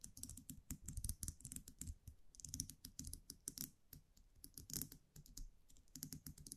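A small wire champagne cork cage (muselet) with a round metal cap is held in the fingers while long nails tap and scratch the cap. The result is a quick, uneven run of soft, dry clicks and taps, each with a bright metallic tick and a low, muffled thud that dies away almost instantly.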